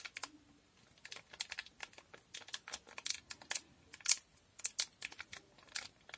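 A small, square, blue foil Durex condom packet, sealed and full, is held in both hands and tapped, scratched and crinkled with long painted nails. The result is a quiet, rapid series of dry, bright clicks and crisp crinkles that stop instantly with no ring and have almost no low end.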